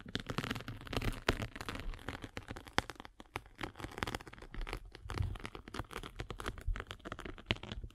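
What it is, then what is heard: Foam sanding sponge. A derma roller with metal spikes is rolled across a rectangular sanding sponge with a gray grit face and blue foam core. It makes a dense, continuous crackling and crunching texture of many sharp, short clicks over a low rumble. Brighter snaps occasionally stand out.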